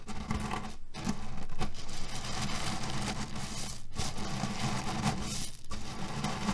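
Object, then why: Cotton pillow filled with cherry pits. A cotton canvas pillow filled with cherry pits is scratched with fingernails, then bunched and squeezed with both hands. The result is a steady, dense rustle of gritty, clicking crunches from the shifting pits, heavy in the low end, with a few brief pauses between handfuls.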